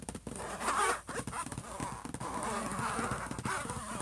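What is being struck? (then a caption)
Closed laptop lid, thin plastic or metal shell. Both hands rapidly tap and scratch the closed silver HP laptop lid, a flat hollow shell, with fingertips and short nails. Dense, rough scratching runs over quick, dry taps, with a scratchy tone centered around 1.2 kHz. The sound peaks just before the first second, briefly dips, then continues at a steady level to the end.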